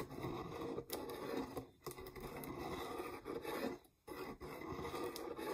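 Long nails scratch and rub the threaded rim and sides of a medium-sized, mostly empty clear plastic peanut jar with a red lid. The result is a steady, dry, scratchy rasp centered in the low mids, broken by a few brief pauses and soft bright ticks.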